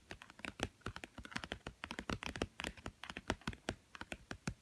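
Fingernails rapidly tap and scratch the blue glossy cover of a small, thick, solid children's board book with stacked cardboard pages, lying on a woven mat. About thirty quick, dry clicks sound in a fast, uneven patter, like typing on a keyboard. Each click has a low thump and a bright edge that dies away almost instantly.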